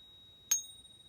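An American Silver Eagle silver bullion coin is pinged once while a steady 3800 Hz reference tone plays underneath. The strike gives a sharp, bright ring with high overtones that fades over a fraction of a second, leaving the constant reference tone. The ring matches the reference pitch, consistent with genuine silver.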